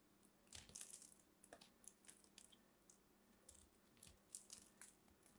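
A small blade carves and scrapes flakes off a solid, fist-sized green soap ball with purple specks, held in hands with long red nails. The result is a quiet, uneven series of crisp, bright crunching and scraping bursts, each very short and dry, with a faint steady low hum underneath.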